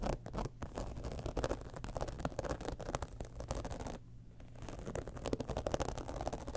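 Fingernails scratch the textured side panel of a holographic, embossed faux-leather cosmetic bag lying tilted. The result is a rapid, dense run of dry scratching and patter, weighted toward low and midrange tones, with a brief quieter pause around four seconds before the scratching resumes.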